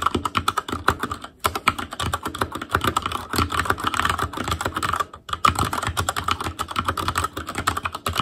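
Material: Plastic.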